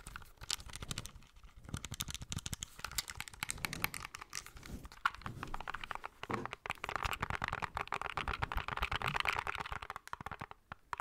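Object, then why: Plastic handheld game console. Fingertips and nails tap and scratch the edges and top side of a small, hollow, grey plastic handheld game console. The result is a dense run of dry, clicky taps with almost no ring, mixed with rustling scratches. The texture grows brighter and busier in the second half.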